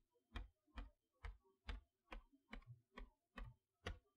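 Long nails tap across the front of a large cardboard chalkboard toy box, which has a plastic window over its magnetic letters. Ten short, dull taps land at a fairly steady pace. Each has a low, hollow thump and a brief bright click that dies away almost at once.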